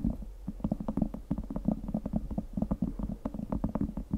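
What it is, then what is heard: Cork board tapped and scratched with nails. A round, flat cork board or coaster, about 20 cm across, solid and thin, is held horizontally above the microphone while long acrylic nails of both hands scratch and tap its textured top surface. Quick, dull, low taps and scratches patter in a dense, uneven stream, each click short and dry with almost no ring.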